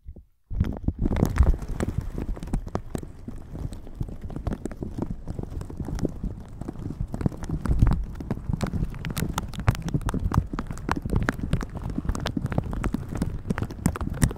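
Red silicone bristle gloves rub and pat the sides of a pink-patterned plastic shower cap stretched over a microphone. After a brief silence, a dense, steady stream of soft, muffled thumps and crinkly rubbing follows, heavy in the low end, with quick dull taps throughout.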